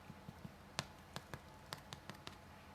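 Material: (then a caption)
Bread crust. Knuckle knocks on a finished, freshly baked gluten-free crusty bread loaf, checking underneath, make a series of short, dry, hollow taps with sharp high clicks. The crust sounds hard, and the loaf is baked through.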